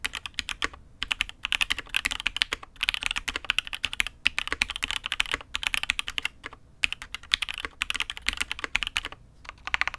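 A custom Matrix 8xv 2.0 "add X'mas" mechanical keyboard with INK Black, an aluminium case and red and grey ABS keycaps is typed on steadily with the fingertips of both hands. It gives a fast run of short, bright clacks with almost no low end and bursts separated by brief pauses.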